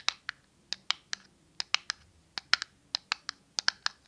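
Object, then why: Small cardboard matchbox. A small, closed, red and white cardboard matchbox is tapped and scratched by long nails. There are 17 sharp, bright clicks with almost no ring and little low end, spaced irregularly and sometimes in quick pairs.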